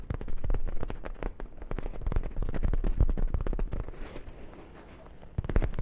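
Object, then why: Soft fabric zippered pouch. A small, hollow, dark grey soft fabric zippered pouch is held in both hands close to the microphones and scratched and rubbed with fingertips and nails. Dense, irregular crackling scratches and soft thumpy rubs run throughout, heavy in the low end. They ease into a quieter, hissier rubbing near the end before a final louder burst of scratching.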